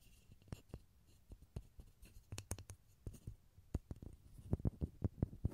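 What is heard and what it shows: A small solid pine wood block held in both hands over a stereo recorder is tapped and scratched with fingertips and short nails. About seventeen soft, dull taps sit among quiet scratching, mostly low and thumpy with almost no ring, growing louder and quicker toward the end.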